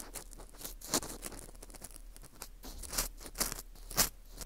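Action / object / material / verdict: scrape / dried wheat gluten ring (fu) / wheat gluten / none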